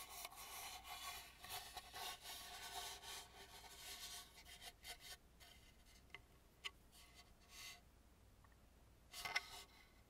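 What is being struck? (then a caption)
Carved wooden mask. Fingertips and nails rub along the rough surface and edge of the dark, unpainted inner back of a hollow carved wooden mask. Quiet, dry, bright scratching and rasping runs steadily for about five seconds, then thins into sparser strokes broken by a few sharp little clicks and a brief louder scrape near the end.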